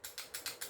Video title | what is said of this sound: Mabilisan Vlog Ep.15 - GIock18 by AWC | Kumakalog, 'di ba? Kalugin natin, kumakalog kasi hindi nga naka-fix outer barrel.